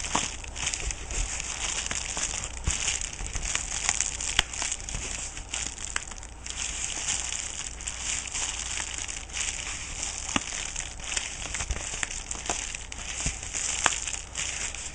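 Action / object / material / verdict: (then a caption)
scrape / kraft-paper padded bubble mailer / paper / none. An empty, letter-size yellow kraft-paper padded mailer (Jiffylite) held in one hand is pressed, squeezed and scratched by a thumb and a fingertip with a painted nail, crinkling the padding. The result is a steady, bright crackling and crinkling texture with many quick, sharp clicks and a faint low hum underneath.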